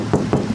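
A knuckle knocks on the steel body panel of a Hyundai Tucson SUV, giving repeated dull, low thuds with little brightness and a short ring. The body sounds solid, in contrast with locally sold Toyota cars.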